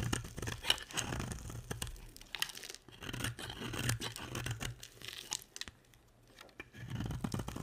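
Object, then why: Soap bar. A box-cutter blade scrapes powdery flakes off a hand-sized, solid, dry pink and white striped bar of soap. The result is a dense, crackly, tearing scrape with bright grainy detail over a low rumble, coming in bursts of short strokes. The sound briefly drops to near silence before the scraping resumes.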